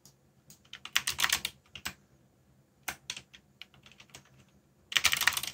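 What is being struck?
Mechanical keyboard with plastic keycaps.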